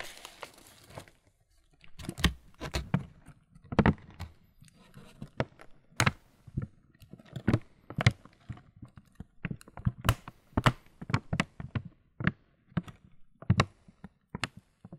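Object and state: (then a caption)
Plastic cereal bag filled with muesli. A medium printed, laminated plastic Kellogg's muesli bag filled with muesli is crinkled and rubbed by hand. Sharp, dry crackles and crunches repeat throughout, with low, soft rustles from the contents beneath.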